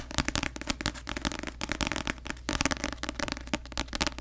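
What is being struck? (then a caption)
Paperback book with glossy paper cover. Long acrylic nails tap rapidly on the glossy paper front cover of a paperback novel, *The Cruel Prince*, a solid paper block held upright in both hands in front of the mic. The result is a dense run of sharp, crisp clicks that die away almost instantly, bright on top with a soft low thud from the book underneath.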